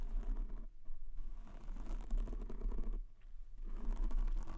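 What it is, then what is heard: Foam microphone windscreen. Fingertips tap quickly on a white foam windscreen covering a black microphone, like typing. The result is a steady stream of soft, muffled low thumps and rustles, with two brief quieter pauses before the tapping resumes.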